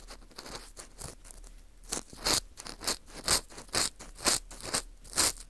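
An orange plastic earpick scrapes inside the hole of a porous dried wheat gluten ring (fu) held in gloved hands. It makes a series of bright, dry scratching and crunching strokes that come in uneven bursts, with little low end.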